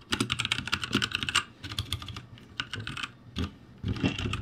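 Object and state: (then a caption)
Mechanical keyboard with plastic keycaps. Both hands type rapidly with their fingertips on a backlit ROCCAT G65 mechanical keyboard with plastic keycaps. The result is fast, bright, clacky keystrokes with a low thock underneath. A dense burst is followed by lighter tapping, a brief pause, and then a final flurry.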